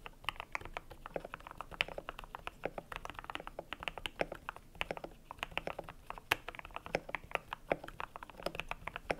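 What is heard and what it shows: Fingertips type steadily on a cream compact mechanical keyboard with PBT plastic keycaps. The result is a rapid, uneven stream of short, crisp clacks with a bright edge and little low end. Each keystroke dies away almost instantly over a faint, steady low hum.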